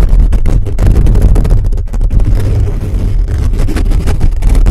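Fingertips and nails of both hands scratch fast across a hollow black metal mesh microphone grille. The result is a loud, continuous, boomy rumble of rapid scraping, heavy in the low end with faint brighter scratchy streaks on top.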